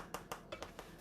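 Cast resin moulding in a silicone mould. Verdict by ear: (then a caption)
Solid. Cast resin mouldings, still sitting in their silicone mould, are tapped five times, giving short, hard knocks like someone at a door. The knocks show the resin has fully cured and set solid, ready to be demoulded.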